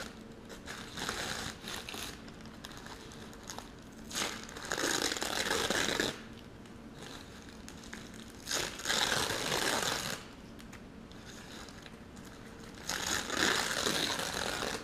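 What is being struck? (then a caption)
Thin tissue paper sheet. A thin green tissue paper sheet is held up and crumpled and crinkled between both hands with the fingertips, while the foam tray and straw below stay untouched. A soft, steady bright crinkling runs throughout, swelling into three louder rustling bursts.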